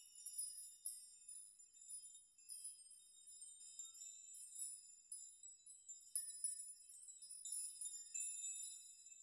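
Fingers rock the many long hanging steel nails of a steel nail chime so they clink together. The result is quiet, bright, irregular tinkling with short metallic rings, all in the high range with no low end.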